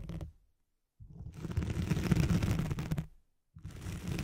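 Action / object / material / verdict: scrape / nylon hook-and-loop velcro sheet / nylon / none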